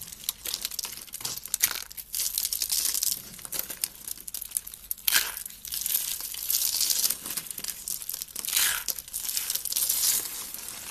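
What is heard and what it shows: Loose, thin curls of dry pink soap, rolled hollow, are picked up and crushed between fingertips with red nails. The crushing makes dense, bright, crackling crunches that come in rapid bursts with almost no low end or ring.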